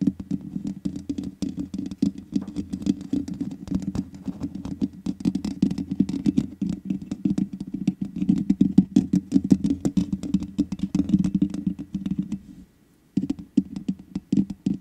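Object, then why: Metal mesh microphone grille. Long nails tap and patter rapidly on the hollow metal mesh grille of a black microphone, making a dense run of short, dry clicks over a steady low hum. The tapping breaks off into near silence for a moment and then resumes.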